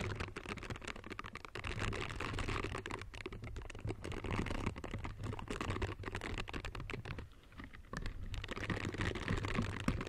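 Pink silicone scrubber gloves with soft bristles, worn on the hands in close-up, as the gloved fingers rub and scratch against each other. The result is a steady stream of dense, irregular scratchy ticks over a low hum, with a brief quieter lull near the end before the rubbing resumes.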